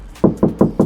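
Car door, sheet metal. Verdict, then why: Hollow. Knuckle knocks on an MG HS car door, bare sheet metal without sound deadening, in contrast to the deadened front doors. Four hollow, mid-pitched knocks ring briefly. The untreated door sounds noticeably less solid.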